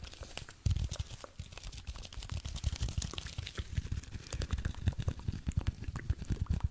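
A single palm-sized, porous, soft, dry-looking blue cellulose kitchen sponge is held close to the microphone and squeezed and scratched with the fingertips. The result is a dense run of soft, low, muffled thumps and crinkly crackles, with faint bright scratchy ticks over the top.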